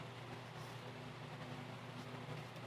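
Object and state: Nothing is struck.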